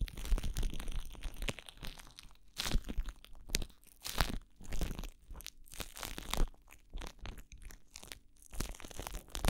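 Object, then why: Plastic cling wrap. Crumpled clear plastic cling wrap is pressed against a microphone ear while fingers crinkle and rub it. Dense, crackly crunching bursts sweep from a deep, rumbling thump up to bright, hissy crackle. They come in irregular surges with brief quieter gaps between them.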